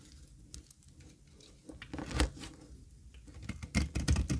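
A solid, square, dry cream olive oil soap bar held in a palm has its edge shaved with a metal blade. The result is a series of soft, dry scraping and crumbling sounds that grow denser and louder toward the end. Brief bright flecks ride over a low, muffled body.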